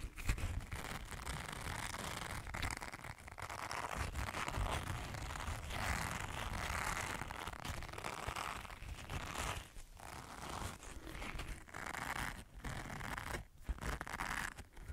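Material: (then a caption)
Silicone. A green silicone body scrubber is held in both hands in front of a microphone while fingertips scratch and rub its bristles. The result is a dense, continuous crinkling scratch with a bright hiss and a low rumble, interrupted by brief gaps near the end.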